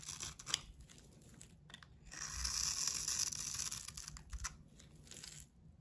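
A hand-held solid bar of soap with a blue painted coating and red heart decals is scraped by a metal box-cutter blade, peeling off coating and soap in shavings. Dry, bright scraping and crinkly tearing sounds rise and fall in quick irregular strokes, swelling into a denser, louder scrape in the middle before thinning out.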